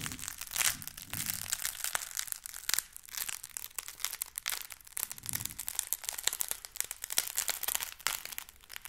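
A single solid, palm-sized white packing foam block is squeezed, crumpled and scratched by fingers. This produces a dense, continuous run of bright, dry crackles, squeaks and crunches with almost no low end. Each burst stops sharply, with no ring after it.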